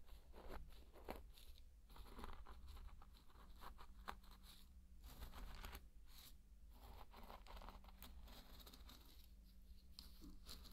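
A thin wooden stick is dragged and poked through dry pearl barley grains, making soft, crunchy scratching and rustling bursts. The grains crackle and shift in uneven clusters over a steady low hum.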